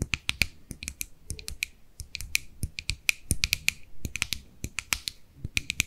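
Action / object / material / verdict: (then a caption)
tap / small plastic jar tapped with fingernails / plastic / none. Long nails tap the lid and body of a small white plastic cosmetic jar with a purple label while it is turned in the hands. The result is a rapid, irregular run of sharp, dry clicks with a bright tone centred near 2.4 kHz and almost no ring after each tap.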